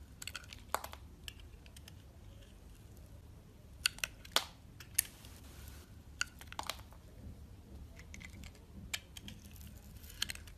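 A solid soap bar with a purple outer layer and a lilac core is held in the hand and peeled and shaved with a metal box-cutter blade. Sharp, bright scraping clicks and crisp shaving strokes come at irregular intervals over a soft low background hum, each cut dying away almost instantly.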